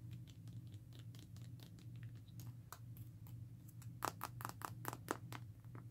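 Long nails scratch and tap the back and sides of a smartphone in a black textured rugged plastic and rubber case. Soft, quick scratching fills the first four seconds, then sharper, clicky taps stand out from about 4 to 5.5 seconds. A steady low hum runs underneath throughout.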